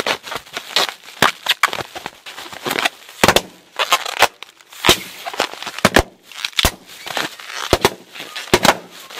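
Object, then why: Plastic air-cushion bubble wrap. Large clear plastic air-cushion bubble wrap with a blue AIRPLUS print, its hollow air-filled pillows squeezed, crumpled and popped with both hands and fingers, with loose pillows lying nearby. Many sharp, bright pops burst out one after another between crinkly plastic crackling, each snapping off quickly with almost no low end.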